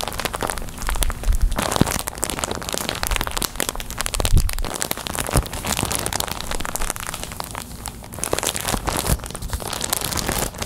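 A clear plastic packaging bag full of white cotton balls is held in both hands and squeezed and crinkled with fingers and long nails. The result is a steady, dense crinkling and crackling, with bright plastic crackle over soft, low, muffled thumps from the squeezing.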